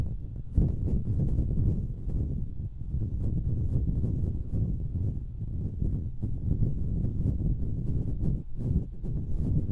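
Long nails scratch the hollow metal mesh grilles of two identical stereo microphones. The result is a dense, continuous low rumbling scrape with rapid crackling transients, heavy in the low end with almost nothing bright, holding a steady level for nearly ten seconds.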